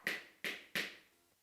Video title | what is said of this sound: Patterns in sound - What is Sound? - Sound for Kids - Sound Waves and Vibrations | the board marker is making a different sound.